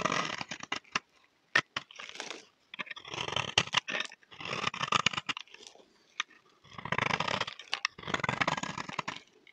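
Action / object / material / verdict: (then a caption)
scrape / solid bar of soap scraped with a knife blade / soap / none. A utility knife blade scrapes a solid, dry, oval peach soap bar held in the hand, shaving off flakes. Bursts of dry, crunchy scraping alternate with sharp clicks and short pauses, and the sound is bright and airy with little low end.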